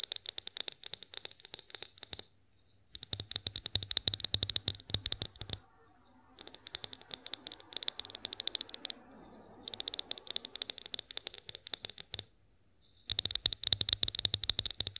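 Long nails tap rapidly on a tall, hollow, clear glass olive oil bottle, making dense bursts of sharp, bright clicks with a high glassy ring. The flurries come in several runs separated by brief pauses, and one stretch in the middle turns softer and more scratchy.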